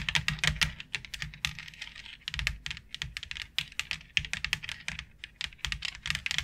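Long acrylic nails tap rapidly on a white plastic plaid board with a fine grid texture, which lies flat on a dark surface. The result is an uneven stream of crisp, bright clicks with a slight rattle and almost no ring after each tap.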